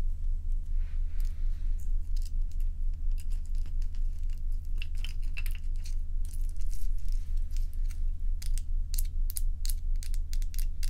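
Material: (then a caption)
Ice. Crescent ice cubes resting on a towel are tapped with long nails, and then some are picked up in the hand. Many quick, bright clicks and clinks sound irregularly over a steady low hum that runs through the whole clip.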